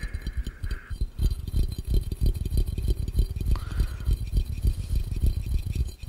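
Quick fingertips tap on the base of a clear, empty glass fishbowl held over the camera. The tapping is fast and uneven, a steady stream of short, deep, dull knocks. Faint brief tonal rings sound now and then.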